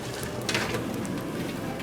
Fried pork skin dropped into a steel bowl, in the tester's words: as soon as it hits the stainless steel it makes a sound